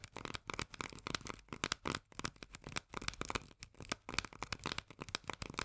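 Long nails tap fast on the paper-labeled body of a small, full steel can of corn lying on its side. The result is a rapid, uneven stream of dry, crisp clicks with a bright, papery edge and almost no ring.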